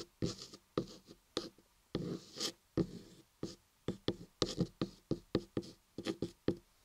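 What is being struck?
Carved laundry soap block.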